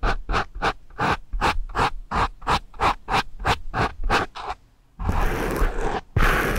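Two pencil erasers with metal ferrules scratch and rub a foam microphone windscreen, producing a quick, uneven series of short, separate rasping scratches with a deep low thump beneath. After a brief silence, a louder, continuous bright rubbing hiss follows in two longer strokes.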